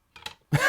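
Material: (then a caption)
Metal. A new metal credit card is put down on a table, giving a soft scuffing tap followed by a louder, sharper clack that rings briefly. Despite being metal, the card sounds like plastic rather than metal.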